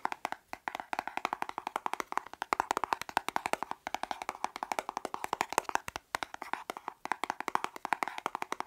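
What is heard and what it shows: Fingernails tap rapidly and scratch across a small, flat, dark plastic makeup compact or palette case held in the hand. The result is a dense run of sharp, dry clicks centered around 900 Hz, with no low end and almost no ring. The tapping breaks off briefly a few times before resuming.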